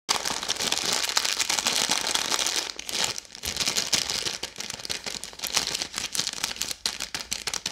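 A red, bar-sized plastic-film Maltesers bag full of chocolate balls is held in both hands and crinkled and squeezed with long yellow-painted nails and fingertips. It makes a dense, bright crinkling and crackling that runs steadily for nearly three seconds. The sound then breaks into choppier bursts with short gaps and almost no low end.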